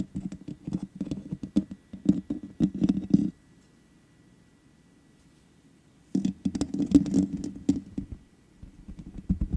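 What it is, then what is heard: Metal mesh microphone grille. Long nails and fingertips tap quickly on the hollow metal mesh grille of a black microphone. The result is a rapid, dry patter of short clicks and soft thumps centred low around 200 Hz, in two bursts separated by a nearly silent pause of about three seconds, then continuing more lightly at the end.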